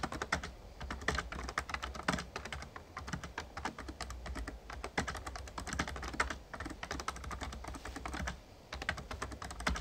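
Fingertips of both hands type rapid key taps on an RGB-backlit plastic Razer Ornata Chroma membrane gaming keyboard with a hollow casing. Dense, clacky taps rattle in quick bursts over a steady low hum, with a brief lull near the end before typing resumes.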